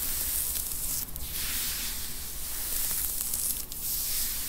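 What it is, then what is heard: Knit cotton T-shirt scratched with long nails. Long, pointed teal acrylic nails scratch and rub a dark grey knit T-shirt, probably cotton, worn on a seated person's upper back and shoulders. The result is a steady, bright, hissing scrape over a low rumble, dipping briefly twice as the strokes change. The soft body underneath damps the sound.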